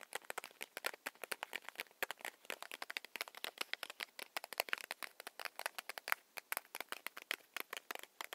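Long manicured nails tap quickly along the length of a small, solid Hi-Chew chewy candy stick in its paper/foil wrapping. The result is a quiet, fast, steady stream of dozens of short, dry, crackly clicks. Each click is bright, with its tone centered around 1.4 kHz, dies away almost instantly, and has no low end.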